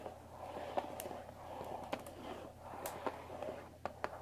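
Long dark nails tap the top of a closed Earl Grey tea box of thin printed cardboard, about 20 cm long and likely full of tea bags, resting on a wooden table. Nine short, dry taps with quick bright clicks stand out over a soft, steady papery rustle and low hum, each dying away almost instantly.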